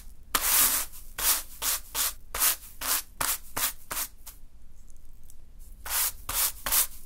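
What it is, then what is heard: Green sand swept with a broom. A small natural-fiber broom sweeps against a small heap of fine green sand on a dark surface, making 13 short, bright brushing rubs with a scratchy hiss. The strokes come in an irregular rhythm, pausing for over a second before a final few quick sweeps.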